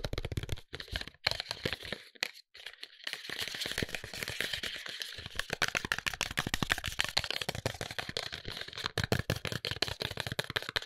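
A tall, narrow white paperboard serum box, closed with a serum bottle inside, is tapped rapidly with fingertips and short nails. The result is a dense run of dry, crisp clicks and crackles with bright high-end texture and almost no ring, pausing briefly near the start before continuing steadily.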